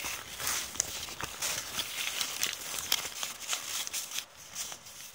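Long painted nails and fingertips rub and scrunch a torn, crumpled piece of thin brown kraft paper bag with ragged edges. The result is a steady run of dry, bright crinkling and crackling, with sharp little snaps poking out here and there and almost no low end.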